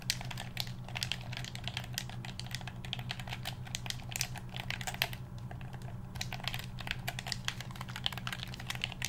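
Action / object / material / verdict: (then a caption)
tap / plastic handheld game controller / plastic / none. A black hollow plastic handheld game controller is held in both hands while its buttons are clicked and its shell is tapped with the fingertips. The result is a rapid, uneven stream of short, crisp, bright clicks and taps over a steady low hum.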